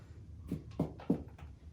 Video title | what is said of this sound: HOW TO : Baking Bread ! It's sourdough for you with Ty and Abbey Cook | Sounds hollow. It's done.